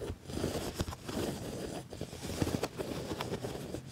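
Fingernails and fingertips scratch and rub across the padded, ribbed black leather panel of a quilted leather jacket. The result is a steady, dry scraping and crinkling texture with soft low rumbles, broken by brief sharper scratchy bursts.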